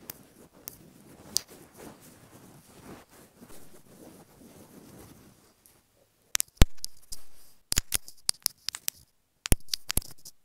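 Long nails tap and scratch a small, hollow white plastic earphone inline remote microphone resting on a bedspread. First comes a soft, low scratching and rustling with a few faint clicks. After a brief silence, sharp, bright taps and clicks snap out one after another, each dying away almost instantly.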